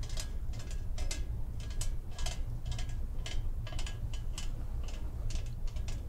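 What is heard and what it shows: Long painted fingernails tap and scratch along the ribs and holes of a large, hollow, empty pumpkin-shaped decoration made of perforated, grater-like metal sheet with a wire stem, held in the hands. Quick bursts of bright, raspy, ratchet-like clicking come in short clusters over a steady low rumble.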